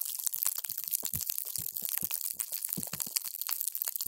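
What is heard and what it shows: A paper straw is pushed down into a clear plastic cup full of multicolored water gel beads, crushing them. A dense stream of bright, wet crunching and crackling pops is heard, with occasional soft low thuds as the beads squash and burst.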